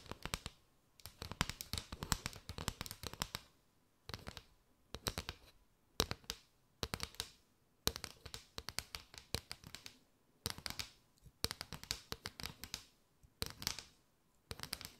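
Long nails tap rapidly along a mat of hollow paper straws held arched with the open ends showing. Bursts of quick, dry, bright clicks and scratchy rattles come in groups separated by brief pauses, each tap dying away almost at once.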